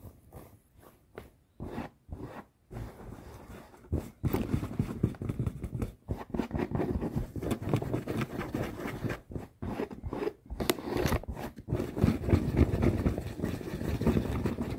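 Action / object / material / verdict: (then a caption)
scrape / cloth garment / fabric / none. Fingertips and nails scratch and rub a red fabric garment lying in a suitcase. Short bursts of scratching during the first four seconds give way to a denser, continuous rubbing and scraping that stays heavy in the low range until the end.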